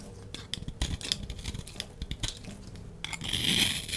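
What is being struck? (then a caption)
Bar of soap cut with a knife blade. A solid orange bar of soap, held in the hand, is shaved with a utility knife blade, sending crumbs falling. A quick series of crisp, bright scraping cuts and small crackles sits over a soft low rustle, building to a louder, hissing scrape near the end.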